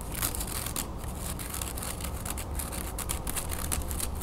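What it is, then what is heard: Carved wooden hand fan. Long nails scratch and tap quickly across the slats of a thin, slatted, sandalwood-style wooden folding fan with pierced patterns, partly folded and then spread. Dry, crisp clicks and scrapes come in rapid bursts over a steady low rumble.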